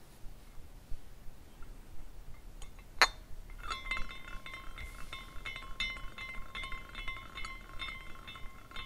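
Fingertips twist the top spire of a small clear glass carousel ornament on a rainbow glass base, spinning it so its hanging glass horses clink together. A sharp bright clink stands out near three seconds, then a steady ringing tone with high shimmering overtones holds through the rest of the clip. Soft, irregular glassy tinkles continue over it.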